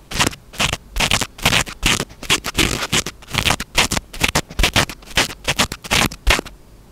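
Fingertips scratch the surface of a small black foam windscreen on a handheld microphone, producing a run of short, uneven bursts of dry, bright scratching noise with a low thump beneath each stroke. The strokes come in a loose, irregular rhythm and stop abruptly near the end, leaving a faint hiss.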